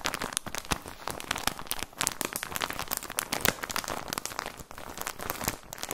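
A plastic package of socks is crinkled and squeezed with the fingertips, giving a dense run of quick, bright crackles and crunches. The crinkling is continuous and uneven, with brief louder snaps scattered through it.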